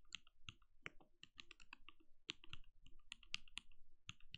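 A compact RGB-lit mechanical keyboard with a translucent plastic case and plastic keycaps, resting on a desk, is typed on steadily with the bare fingertips of both hands. About nineteen short, crisp keystrokes sound, each with a bright clicky top and a soft low thock underneath. Each keystroke dies away almost instantly, giving a quiet, even typing rhythm.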